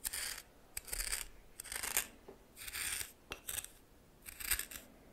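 A red plastic spoon stirs coarse salt in a small bowl, making six bursts of bright, gritty scraping and crunching separated by short quiet pauses. The grainy rasp is high and dry, with tiny crackling clicks inside each stroke and almost no low end.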